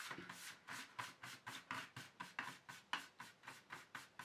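Fingertips tap and sweep across the flat base of an empty black plastic paint tube tray, producing about sixteen soft, brushy strokes at an uneven pace. Each stroke is a quiet, bright, scratchy swish with a faint hollow plastic tap, dying away almost at once with little low end.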